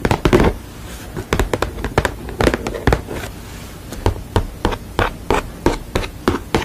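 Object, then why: Painted canvas panel. Long nails tap rapidly and scratch across the surface of a sugar-skull painted canvas panel. The sound is quick bursts of short, dull taps that die away almost at once, with softer scratching between them.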